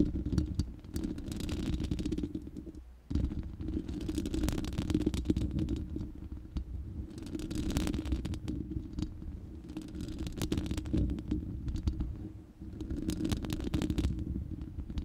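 Long nails scratch the bare, hollow, round steel mesh grille of a studio microphone. The result is a dense, continuous low rumbling scrape with a steady hum-like band around 300 Hz and bright, gritty bursts. Two brief pauses break it, near 3 and 12.5 seconds.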